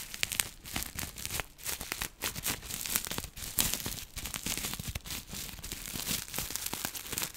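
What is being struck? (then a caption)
Plastic bubble wrap. A small bunched piece of clear plastic bubble wrap is held low while long nails scratch and pinch it. The result is a dense, continuous run of bright crinkling and crackling, with many sharp little clicks and scratchy bursts that fade almost instantly.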